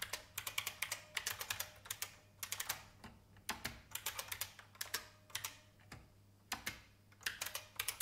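Fingertips of both hands type on the plastic keys of a vintage beige IBM mechanical keyboard. The result is quick bursts of sharp, bright clicks and clacks with brief pauses between runs. Each keystroke is short and dry, with little low end.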